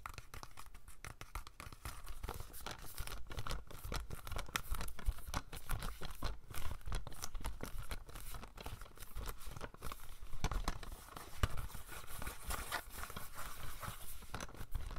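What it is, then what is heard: Plastic DVD case. Rapid fingernail tapping on the back cover of a plastic DVD case for Slumdog Millionaire. The taps come as a dense, continuous patter of short, dry clicks with faint crinkling, steady in level throughout.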